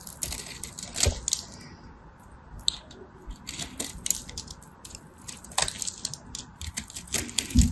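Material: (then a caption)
Soap. A knife blade shaves and scrapes the surface of a hand-sized purple and white striped soap bar held in the hand, working in a crosshatch pattern and raising thin curls. Repeated short, bright, crisp scraping strokes sound over a low background rumble, with the strongest scrapes near the start and at the end.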